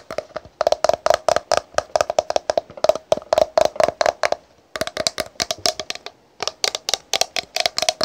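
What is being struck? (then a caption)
Plastic cosmetic bottle with cap. Long pink nails tap and scratch a tall translucent green plastic "Green Tea" toner bottle, partly filled with liquid, and its green plastic cap. Quick, dry, hollow clicks come in dense runs with a steady mid-pitched ring, broken by a brief pause near the middle and a longer gap before the final burst.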